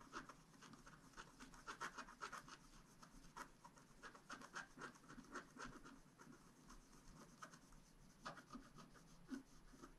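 A wooden stylus scratches small detail strokes into a thin, black-coated scratch-art card lying flat. The result is a quiet, irregular run of short, dry scratching and rubbing strokes with a raspy midrange and a bright edge.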